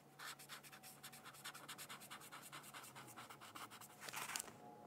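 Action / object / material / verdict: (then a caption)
scrape / thin paper sheet on a hard book cover / paper / none. A black-barrel brush-tip pen colors a thin paper coloring sheet resting on a hardcover textbook in quick, scratchy strokes. The strokes come as a rapid, steady run of quiet, bright scratching with almost no low end. A louder, denser scrubbing burst rises near the end.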